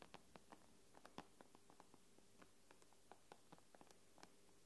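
Long nails tap and scratch across the black glass screen of an iPad tablet. About sixteen short, crisp clicks sound at an uneven pace, each dying away almost at once over a faint, steady low hum.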